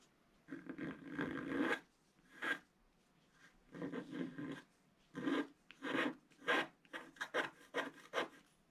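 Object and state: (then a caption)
Coated paper scratch-art sheet. A wooden stylus scratches a flat black-coated scratch-art card resting on a table in steady strokes. Dry, raspy scratching comes in bursts of varying length separated by brief pauses, with the later strokes shorter and quicker. The sound is fairly quiet and bright with almost no low end.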